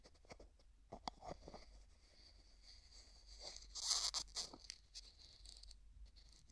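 A medium translucent pink hollow plastic tub with a white plastic lid, its lid tapped, scratched and twisted by fingertips and nails. Quiet, bright clicks and dry scratching are heard, with a louder burst of rasping friction around the middle as the lid is twisted.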